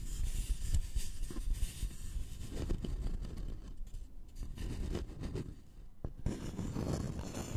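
Fingernails of both hands scratch across a thin, flat, solid wooden notched trowel board with visible grain. The result is a steady, dense, low, rough scraping that is mostly deep rumble with a faint bright hiss, swelling and fading as the strokes continue.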